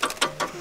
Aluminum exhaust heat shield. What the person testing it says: these will rattle sometimes